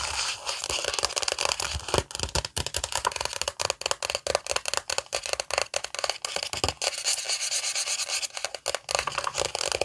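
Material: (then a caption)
Glossy paper. A glossy paper magazine, held in both hands, has its cover rubbed and scratched with long nails. The result is a steady, bright, papery scratching and rubbing, broken into rapid, uneven strokes with little low-end weight.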